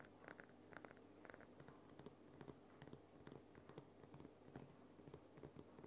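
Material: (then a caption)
Rock salt. Long nails tap and scratch the top and then the sides of a large, solid, glowing pink Himalayan rock salt lamp. The result is a quiet run of dry clicks and scratchy taps over a steady low hum, each tap dying away quickly.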